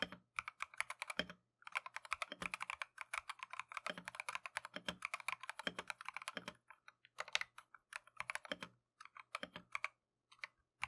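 A Keychron V1 compact mechanical keyboard with Tangerine switches and green and white Matcha plastic keycaps is typed continuously with gloved fingertips. It makes rapid, bright, clacky keystrokes with very short decay, coming in bursts with brief pauses and a slightly deeper thock on some presses.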